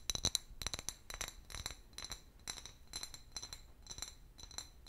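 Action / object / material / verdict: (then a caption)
tap / clear glass bottle / glass / none. Long fingernails tap and scratch an empty, medium-sized, hollow clear glass bottle with a paper label. A quick series of bright, high glassy clinks, with a main tone near 3.9 kHz, rings only briefly. Soft scraping fills the gaps between them.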